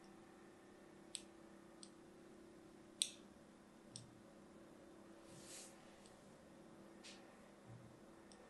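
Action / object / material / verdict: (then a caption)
scrape / solid soap bar scraped with a thin metal blade / soap / none. A thin metal blade carves fine grooves into a blue and white striped solid soap bar held in the hand. Four sharp, bright clicks stand out, followed by softer scraping swells, all over a faint steady low hum.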